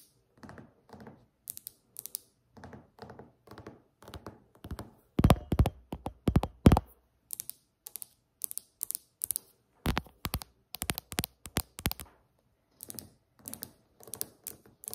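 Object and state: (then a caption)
Granite countertop. Both hands tap a large, solid, polished granite countertop with long acrylic nails and fingertips in alternating build-up taps. Soft, dull fingertip thumps come in quick bursts, then switch to sharp, bright nail clicks that peak loudest around the middle. The taps are dry and die away almost instantly, with no ring.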